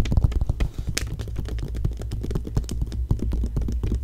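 Fingertips and long nails scratch and rub the thin pages of an open glossy paper magazine, staying on the same spread. A dense run of quick, soft scratches and taps sounds mostly low and muffled, with occasional brief bright ticks and almost no ring after each stroke.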